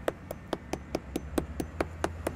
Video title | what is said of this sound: Construction Update Community Market Parking Deck 2-22-17 | you hear a hollow sound